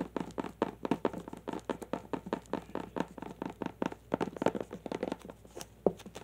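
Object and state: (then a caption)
Plastic glitter tube. A long clear plastic tube filled with glitter, held horizontally, is tapped with the long nails of both hands. About 33 quick, crisp tapping clicks come in a fast, uneven rhythm, each one short and dry with almost no ring.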